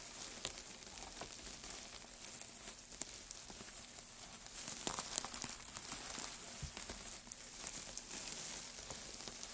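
White-gloved hands squeeze and rub a loose heap of thin, light wood shavings, making a steady, bright crinkling and crackling rustle. Small irregular pops and snaps stand out from the hiss, and there is little low end.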